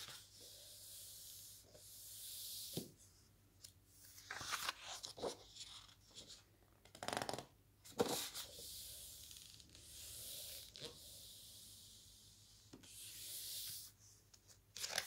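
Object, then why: Glossy paper pages of a large book. A large open lookbook with glossy paper pages is handled as a palm rubs across a page in long, hissy strokes and fingers turn the pages with sharp crinkling flips. The sound is mostly bright and airy with little low end, in a quiet, close setting.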